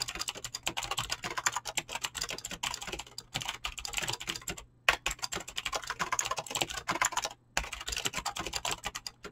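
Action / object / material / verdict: tap / mechanical keyboard with PBT plastic keycaps and clicky switches / plastic / none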